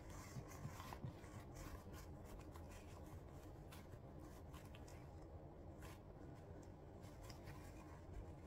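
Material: Leather.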